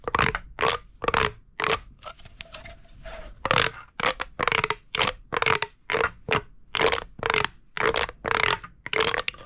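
A hollow purple corrugated plastic pop tube is gripped and crunched in the hand with the thumb and fingers. It gives a rapid, uneven series of dry crackling, scraping crunches with a faint tonal ring around 500 Hz, bright high hiss and little low end. Each burst cuts off quickly, with quieter rustling in the short gaps between.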